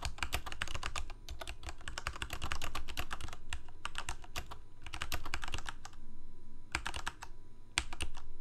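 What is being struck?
Plastic mechanical keyboard.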